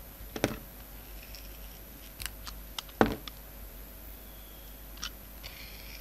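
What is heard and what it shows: A yellow utility knife blade slices and shaves the edges of a palm-sized, solid rectangular bar of soap with black, white and purple glitter stripes, held in the hand. Short, dry scraping cuts and crisp clicks come in scattered bursts over a quiet background. The strongest cuts land near the start and the middle.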